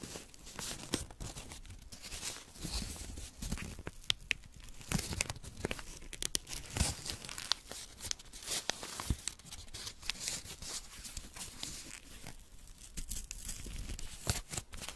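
Fingers pinch and tear a small strip of white paper held up close while fingernails scratch across it. A steady run of dry, crackly tearing and crinkling fills the clip, with many sharp snaps over a low rustle and a bright edge.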